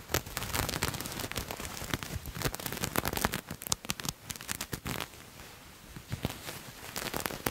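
Fingernails scratch along the surface of a purple paisley fabric garment held up in the air, making dense, rapid dry crackling and scraping strokes that spread from low to high. The scratching comes in quick bursts with short pauses, with a quieter stretch near the end before it picks up again.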